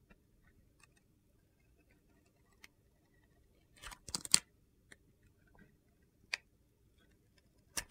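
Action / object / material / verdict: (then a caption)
scrape / glitter-coated soap bar / soap / none. A steel utility-knife blade shaves and peels the green glitter coating off a hand-sized solid bar of white soap held in a hand with red nails, scraping the soap beneath. Quiet, bright, crisp scrapes and ticks come in short separate bursts, with a denser crunchy cluster in the middle, over near silence.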